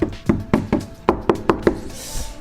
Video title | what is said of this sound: #18 On commence l’isolation et la pose des fenêtres de Roland (van / fourgon aménagé | on entend que ça résonne beaucoup moins